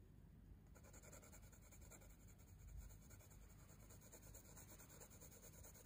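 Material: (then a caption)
Paper. A hand moves a wooden coloured pencil in rapid rubbing and scratching strokes over a drawing on a spiral-bound paper sketchbook page. The result is a quiet, steady, dry scratching texture with bright, grainy hiss that sharpens after the first moment, over a low, soft rumble.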